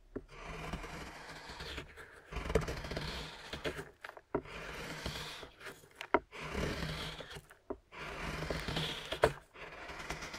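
A metal knife blade scrapes and carves a solid milk chocolate bar lying on a wooden cutting board, cutting it into curls, with the blade possibly touching the board as well. Repeated gritty, rasping scrape strokes are separated by brief silent pauses, with occasional sharp clicks and taps. The shavings pile up on the board.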